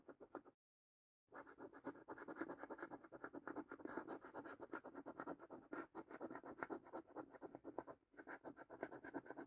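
A coin scratches rows of latex panels on a thin cardboard paper scratch card with a latex coating. A few quick scrapes are followed by a brief pause, then a dense run of rapid, dry, raspy strokes. The scraping stays bright and papery throughout, with no low rumble.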